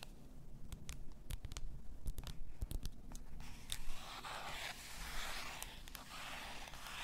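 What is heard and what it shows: Long nails tap the shoulders of a clear bottle, likely glass, full of pink salt, making a run of quick, sharp clicks. They then scratch the shoulders, giving a steady, bright, hissing scrape over a low, quiet background.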